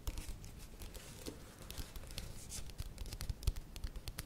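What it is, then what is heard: Plastic yogurt tub. Long nails tap and scratch the side and base of a plastic yogurt tub with a lid, held and tilted in the hands. Quick, dry clicks and scratchy rasps come in a steady, uneven stream, with a soft low thump under the taps and brief bright edges that die away at once.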